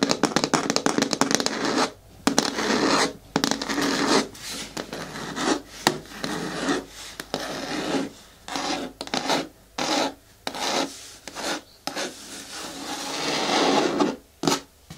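Long nails scratch the front and sides of a hard, hollow green plastic caddy bin with a lid and handle. The clip is a series of dry, rasping scratch strokes with a faint hollow ring near 250 Hz, separated by brief silent gaps. The scratching spreads across a broad, bright range with little low end.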